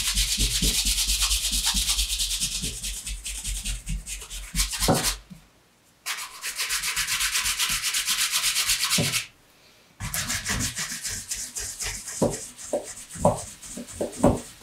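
A hand rubs its bare palm and fingers over the leather upper of a dark brown pebbled leather Allen Edmonds MacNeil wingtip shoe with a shoe tree inside. It makes a bright, steady, brushing hiss in rhythmic strokes, with soft low thumps from the grip. The rubbing stops briefly twice, then resumes in uneven, scuffing passes.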